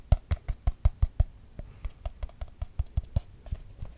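A small, round, hollow aluminium tin can with its lid on is held in the hand and tapped quickly with fingertips and nails across the lid and sides. Nineteen short, dry taps land in an uneven rhythm, each a low, dull thump with a brief bright click and almost no ring. The first run of taps is louder and evenly spaced, and the later ones come softer and more scattered.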